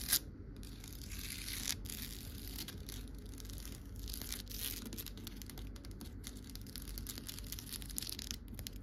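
Long nails tap and scratch along the woven rattan binding of a wicker chair's wrapped rattan armrest, a solid rounded rail. A sharp tap at the start gives way to steady, dense scratching and crackling with a bright, hissy texture over a low rumble.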